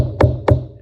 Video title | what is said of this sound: Making the Wooden Propeller | tap it down you'll hear it it sounds like it hit solid